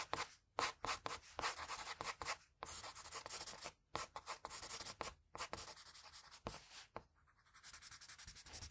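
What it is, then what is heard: Pencil shading on drawing paper. A pencil held at a low angle rubs broad shading strokes over a sheet of drawing paper. The result is dry, bright, scratchy rubbing in quick back-and-forth bursts, broken by brief silent pauses, ending in a steadier, softer stretch of strokes.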